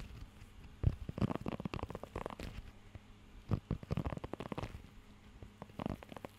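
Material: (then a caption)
Rubber. Fingertips scratch and tap across the raised nubs of a blue rubber pet hair grooming glove held close to the mic. The result is clusters of soft, muffled, rubbery scrapes and dull taps, heavy in low rumbling tones with little brightness. These come in uneven bursts separated by brief quiet gaps.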